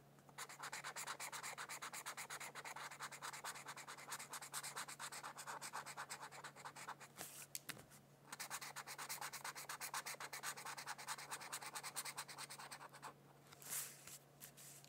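A felt-tip marker scratches and rubs across a thin white paper mandala coloring sheet lying on a book. Rapid back-and-forth strokes make a dense, bright, papery hiss. The strokes pause briefly near the middle and again near the end before a few final scrapes.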